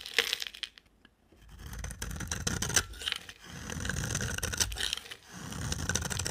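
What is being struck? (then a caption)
Soap bar cut with a blade. A box cutter blade scrapes and shaves the end of a solid, palm-sized green rectangular bar of dry soap held in a hand with long dark nails. Repeated dry, crackling shaving strokes come in uneven bursts with bright, gritty scraping and sharp flicks over a soft low rumble.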